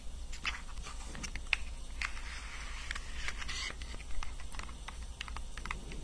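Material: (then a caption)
Cardboard. Long nails tap and scratch the surface of a small, rectangular, printed pink-and-white cardboard box, likely holding a cosmetic product, held close to the microphone. Quick, dry, bright clicks land over soft scratchy rustling, with a steady low hum underneath.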